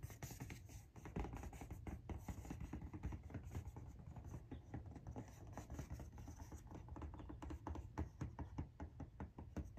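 Long nails tap and scratch the side panel and top edge of an orange Nike cardboard shoe box held upright, which sounds hollow. Quick, dense, quiet taps and scrapes run throughout, with a low, hollow thud under each tap and only a faint bright edge to the scratching.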